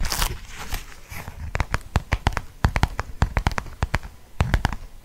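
Fingertips and nails tap a closed black leather wallet with a snap tab. After a brief soft rustle, about 21 short, dry, crisp taps follow in an irregular rhythm, each with a low thump and almost no ring.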